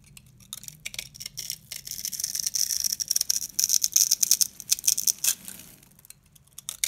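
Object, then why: Bar of soap scraped with a blade. A box-cutter blade scrapes along the edges and surface of a yellow, rectangular, hand-sized bar of solid dry soap held in the hand, peeling off stick-like shavings. Dry, crisp crunching and scraping comes in quick, irregular strokes, bright and high with almost no low end, building through the middle and fading near the end.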